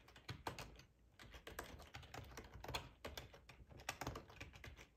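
Fingertips type on the keys of a black plastic ergonomic split keyboard with a hollow housing, resting on a cloth tablecloth. A steady, quiet run of quick, short key clacks carries a hollow low thump under each bright plastic click, with brief pauses between bursts.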